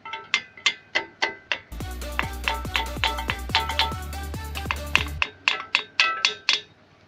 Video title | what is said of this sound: Cara merawat truk isuzu giga 2016 | kalau dia kenceng suaranya penyaring tapi kalau suaranya sember dan dia sedikit berputar itu berarti kau ternyata kendur